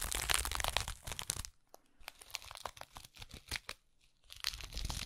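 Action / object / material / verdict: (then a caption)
scrape / small stuffed burlap jute pouch / burlap / none. A small stuffed burlap jute pouch held in one hand has its coarse weave scratched with long acrylic nails, giving bright, dry crinkling scrapes. A dense, louder flurry at the start thins into quieter, scattered scratches and short ticks, then builds again toward the end.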